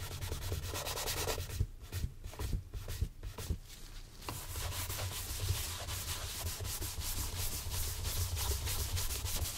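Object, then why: Leather dress shoe. A gloved hand brushes and buffs a brown Santoni leather oxford shoe, hollow and empty on a stand, with quick strokes while a matching shoe sits nearby. Steady, rapid bristly rubbing runs over a heavy low rumble, easing into sparser, separate strokes for a couple of seconds before resuming a dense, continuous scrubbing.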